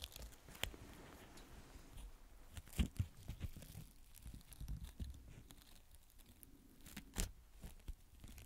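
A small fan paintbrush with a yellow tip and a blue handle is brushed and rubbed across the surface of a small square beige fabric adhesive tape pad held in the fingertips. The result is a quiet, low, scratchy rustling broken by brief, sharp crackling and tearing-like snaps, the loudest near 0.6, 2.8 and 7.2 seconds.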